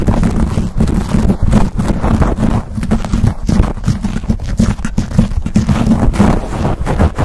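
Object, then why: Foam microphone windscreen. Fingertips and short nails of both hands scratch and squeeze fast on a black foam windscreen fitted over a silver condenser microphone. The result is a dense, continuous run of close, boomy rubbing and scraping. Low thumps and rustle dominate, and the short strokes blur into a steady texture.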